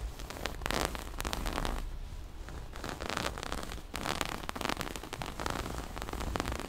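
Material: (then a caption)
Fabric. Long nails scratch and pluck at a small, soft, hollow floral-print cloth pouch with a black zipper edge. The result is a continuous, dense run of scratchy, crackling rasps with bright, papery bursts and a low rumble underneath.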